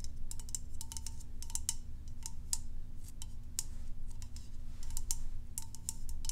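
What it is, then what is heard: Plastic lotion bottle. A medium white, hollow plastic lotion bottle with a dark cap is held in one hand and tapped with long acrylic nails. A quick series of short, clicky, typing-like taps sounds bright and sharp over a steady low hum, each tap dying away almost at once.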